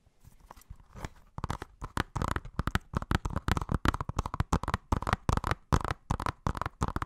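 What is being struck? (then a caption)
Plastic Blu-ray case. A hollow blue plastic Blu-ray case of *Inception* with a printed cover is tapped and scratched with fingertips and nails. The result is a quiet start followed by a fast, uneven run of short, dry, hollow clicks and taps with a low, thumpy body, mixed with faint scratchy rustling.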